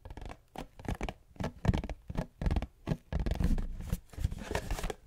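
A cube-shaped cardboard tissue box is held close to the mic and scratched and tapped with long fingernails. Short, dry, papery scratches and taps come in quick irregular bursts with a soft, hollow low thump beneath them. Each sound stops almost at once, with a longer rasping scratch near the end.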